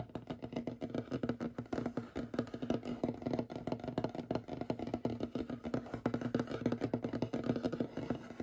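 Short fingernails and fingertips rapidly tap and scratch the surface of a large, solid, light wooden table. The result is a dense stream of quick, dry knocks with very little ring, centred in the low-mid range around 240 Hz. A soft scratching texture sits between the taps.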